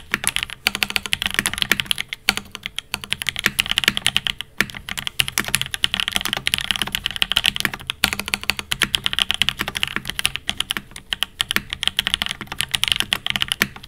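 A silver Fox Labs Time80 Reforged mechanical keyboard with an aluminum case, Alpaca V1 switches and ABS plastic keycaps, resting on a desk mat, is typed on steadily with the fingertips of both hands. The result is a dense, continuous stream of short, crisp clacks, bright and centered around 2.3 kHz with very little low end.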